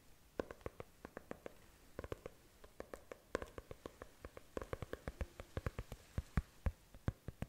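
Long nails of both hands tap and scratch the cover of a closed brown faux leather notebook held horizontally. A quiet, irregular stream of short, dry taps with almost no ring, some louder than others, sits over faint scratching, with most of the sound low and soft thuds under each tap.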